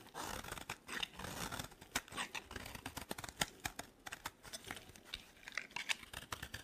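A utility knife blade carves and cuts a dry, solid green soap bar, producing a bright, crisp scraping. Dense rasping strokes are broken by sharp little clicks and crackles as flakes break off, quiet and close with almost no low end.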